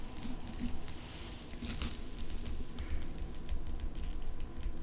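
Long nails tap and scratch the blade and engraved metal handle of an open steel folding pocket knife. The result is a quick run of sharp, bright clicking taps with light scraping, over a steady low hum.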